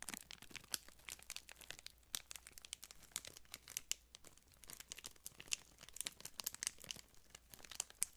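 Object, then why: Thin plastic wrapper. A small folded piece of printed clear plastic wrapper is crinkled and squeezed between fingertips close to the microphone. It makes a dense run of sharp, bright crackles and snaps with short quiet gaps, over a faint steady low hum.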